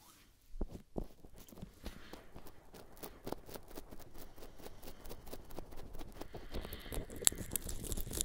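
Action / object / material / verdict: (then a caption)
tap / silicone ears of a binaural microphone / silicone / none. Fingertips lightly pat and rub the outer rims of both silicone ears on a 3Dio binaural microphone. It makes a soft, dense patter of close, muffled taps and brushing friction with a few crisp brighter clicks, and the texture grows busier and slightly louder toward the end.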